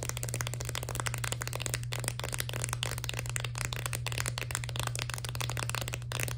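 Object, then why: Plastic blister pack of candies on a cardboard card. A full plastic blister pack of crayon-shaped candies on a cardboard card is tapped and scratched quickly with long nails. The result is a dense, continuous stream of crisp plastic clicks and scratchy rattles with bright high-end detail, over a steady low hum near 74 Hz.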